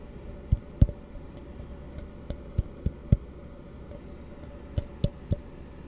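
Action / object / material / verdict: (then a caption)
tap / plastic cup / plastic / none. Fingertips and knuckles tap and knock on the sides of an empty, hollow plastic cup held in both hands. Eleven short, dull, low-pitched knocks land at an irregular pace, each dying away almost instantly over a steady low hum.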